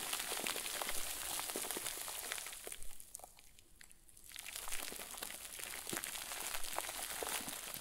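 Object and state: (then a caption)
Plastic bag crinkle ball being crumpled. A round white plastic bag, tied and stuffed into a crinkle ball, is squeezed hard, crushed and crumpled with both hands. Dense, bright crinkling and crackling runs throughout, easing into a quieter lull partway through before the crumpling picks up again.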